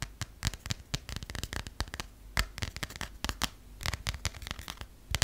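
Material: Paper.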